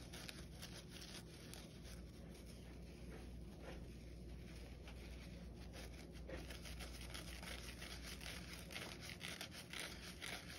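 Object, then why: Foam kitchen sponge with abrasive scouring pad. A soapy kitchen scrub sponge, yellow foam with a green scouring pad, is held over a white bowl while fingernails scratch along the green abrasive layer and its edge. The scratching is a steady, dense stream of raspy, crackly scrapes with a low hum underneath and bright, gritty bursts throughout.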